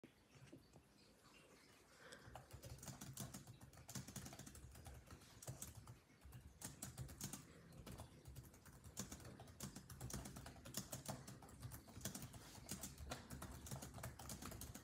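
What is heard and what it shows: Rapid typing with the fingertips of both hands on a grey laptop's built-in keyboard of dark plastic chiclet keys. After a quiet first two seconds, dense, short, bright key clicks run on steadily over a low, humming undertone. There is a brief lull around the six-second mark before the typing picks back up.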